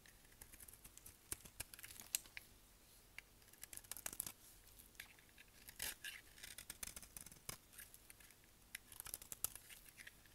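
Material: Soap.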